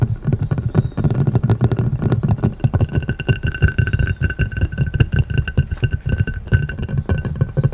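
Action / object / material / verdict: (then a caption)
tap / upturned glass plate / glass / none. A clear round glass plate lying upside down is tapped and scratched quickly with the fingertips and short nails of both hands. The result is a fast, dense stream of dull, low-pitched knocks, each dying out almost at once, with scratchy texture and a faint steady ringing tone above.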